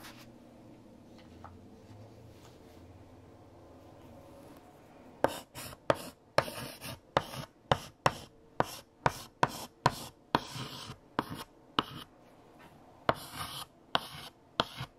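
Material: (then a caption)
Chalk. A pale yellow chalk stick writes on a large, flat, freshly erased black chalkboard. About five seconds of quiet background pass before a run of short, bright, scratchy chalk strokes begins. The strokes come in quick, separate bursts through the rest of the clip.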